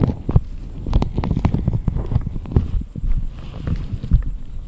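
Both hands cup, rub and massage a left silicone ear model, made of solid soft rubber on a rectangular base and attached to the microphone, using fingertips and palm while the right ear is left alone. The result is a close, muffled stream of deep, low thumps and soft rubbing sounds, almost entirely in the low range. A faint, steady high-pitched hum runs underneath.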